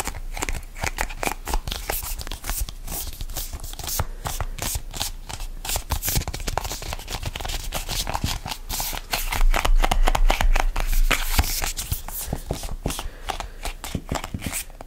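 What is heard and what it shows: A hollow red printed plastic squeeze tube is gripped, rubbed and scratched with fingertips and nails close to the microphone. The result is a steady stream of rapid crinkly scratches and soft plastic clicks, about four per second, with a low thumpy body and bright scratchy edges. The sound grows louder and denser for a couple of seconds in the middle before settling back.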